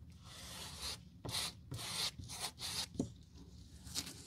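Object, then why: Rubber sole sheet scrubbed with a stiff brush. A gloved hand scrubs glue across a flat, textured black rubber/foam replacement sole sheet for a Birkenstock, lying on a white table, with a stiff-bristled brush. Repeated bright, raspy scratching strokes rise and fall in bursts, with a few sharper taps in between.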